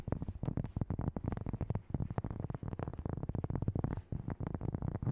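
Long nails and fingertips tap and scratch fast across a large, solid, thin round cork board or coaster. The result is a dense, chaotic run of short, dull, muffled taps with a low, hollow body and almost no ring, mixed with soft scratching.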